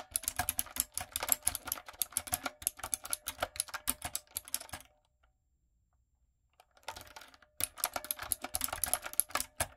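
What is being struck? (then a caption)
Mechanical keyboard with round plastic keycaps. Long nails and fingertips type on a retro typewriter-style backlit mechanical keyboard with round plastic keycaps. Rapid, bright, clicky keystrokes with short sharp decays run for about five seconds, stop briefly into near silence, then resume just as quickly.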